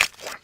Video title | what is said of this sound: Ce li hai due CARCIOFI? Ecco 3 PRIMI PIATTI CON I CARCIOFI da provare Subito! Chef Max Mariola | STAC! Come scrocchiano! Sono freschi!